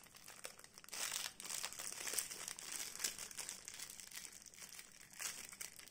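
A clear printed plastic film wrapped around a small solid blue soap bar is held in both hands while long painted nails and fingertips pick at, tear and crinkle the wrapper. The result is a steady stream of bright, crisp crinkling and tearing with quick snaps, swelling into louder bursts at a few points across the six seconds.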